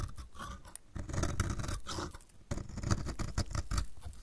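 A metal utility blade repeatedly shaves flakes off the edge of a solid, dry, purple striped bar of soap. The result is a steady run of crisp, dry scraping and crunching strokes with low, soft thumps underneath, pausing briefly just before the halfway point before the shaving resumes.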